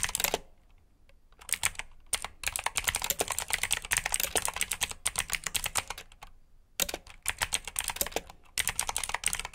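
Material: Plastic.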